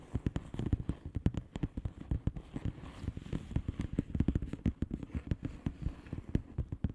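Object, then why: Plastic bubble wrap envelope. Long painted nails of both hands tap fast on a flat blue plastic bubble wrap envelope with air-filled bubbles. Quick, sharp clicks land in rapid, uneven bursts over a soft, low, hollow thump, each tap dying away almost at once.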